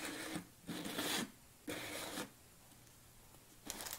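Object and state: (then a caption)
Plastic supplement tub. Long fingernails tap rapidly on the orange lid of a large, tilted red plastic BCAA supplement tub. The tapping comes in four bright, crackly bursts of quick clicks, separated by short quiet gaps.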